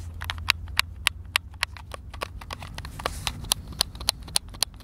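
A white, hand-sized, hollow plastic Xbox controller is held in both hands while fingertips and thumbs press and click its buttons. The result is a quick, uneven run of sharp, dry, bright plastic clicks, with a few louder snaps standing out over a faint low rumble.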